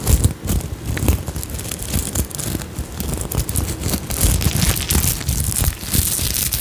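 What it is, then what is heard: Sequin fabric pouch. Long nails scratch and flip the sequins on an iridescent sequin-covered fabric pouch held up close to the microphone. The result is a dense, continuous crackle of quick bright clicks and rustles over a heavy low rumble, with loudness rising and falling throughout.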